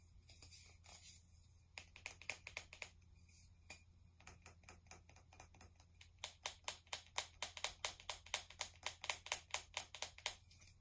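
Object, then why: Aluminum aerosol can. Long nails tap rapidly along the body of a hollow pink aluminum aerosol spray can, about 15 cm tall with a pink plastic cap. The result is bright, crisp clicks with very little ring, starting softer and sparse, then building into a fast, louder run of taps over a faint low hum.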